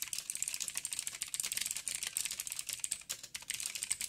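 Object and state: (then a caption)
Plastic mechanical keyboard typing. Fingertips of both hands type quickly on a backlit 87-key mechanical keyboard with plastic keycaps and clicky blue switches. The result is a fast, steady stream of sharp, bright clicks that die away instantly, with almost no low end.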